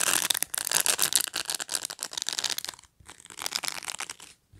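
Long nails scratch across the dense plastic bristle field of a black plastic pet brush. The result is a bright, crackly, rapid scratching with almost no low end, coming in quick bursts with a short pause near the three-second mark.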